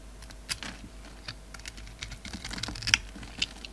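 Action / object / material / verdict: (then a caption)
scrape / soap bar scraped with a blade / soap / none. A utility knife blade scrapes crumbly flakes off a solid oval soap bar with a dark red rim and a black glittery core, held in the palm. Quiet, irregular, crisp scratchy clicks and crackles, bright and dry, stop instantly with no ring.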